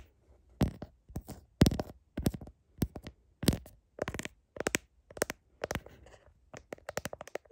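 Long fingernails tap and scratch the back of a smartphone in a blue heart-shaped plastic case, held in one hand, working over the case and the camera lens area. Short bursts of quick, dry clicks and scratchy rasps come in clusters with brief silences between them, each with a soft low thump and a bright crackling edge that dies away almost instantly.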